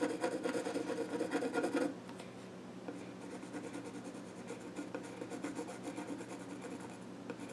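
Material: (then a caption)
Wood. A pencil scratches and rubs along the grain of the flat top of a small wooden child's stool while drawing. Brisk, louder rasping strokes fill the first two seconds, then give way to softer, continuous scratching with light repeated strokes over a faint steady low hum.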